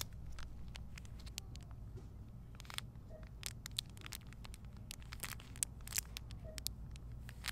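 Crinkling of a small clear plastic bag holding a folded pink polyester makeup towel with a paper label, squeezed and handled in both hands with long painted nails and turned from front to back. Dense, sharp, bright crackles and crisp snaps come in quick irregular bursts over a steady low rumble.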